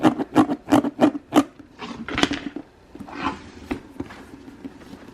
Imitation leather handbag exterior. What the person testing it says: the fake bag here it's pretty well plastic